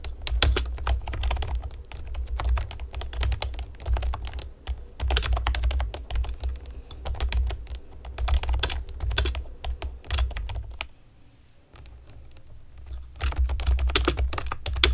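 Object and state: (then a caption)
Plastic keyboard being typed on. Long nails and fingertips type on a hollow pastel plastic keyboard with round keycaps, making rapid bursts of bright, clicky taps over a steady low hum. The typing pauses briefly around five seconds and quiets to near-silence around eleven to thirteen seconds before resuming.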